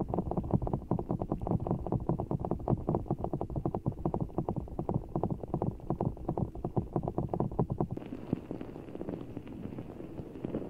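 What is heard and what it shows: Fingertips squeeze and scratch a full, giant orbeez ball of blue water gel beads in a clear rubber skin held close over the microphone. A rapid, dense run of soft, muffled squishing taps sits mostly in the low range for about eight seconds. It then shifts to a steadier, slightly brighter scratchy rustle.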